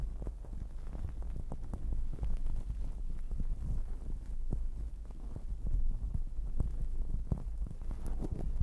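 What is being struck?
Fluffy fabric cover on a microphone.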